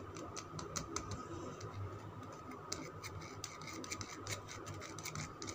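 Fingernails scratch and tap a solid green Lux soap bar held in the palm. The result is a quiet, continuous stream of dry clicks and crisp ticks with bright, short transients, over a low rumbling background and a faint steady tone.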